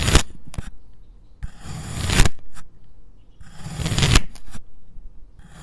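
A white ceramic knife slices through a solid, fist-sized purple kinetic sand cylinder, with loose green sand slices lying nearby but left uncut. The knife makes gritty, crumbling scrapes in longer swelling strokes and short bursts, with soft low thuds underneath and a bright hiss. The cuts come at an uneven pace, with quiet gaps between them.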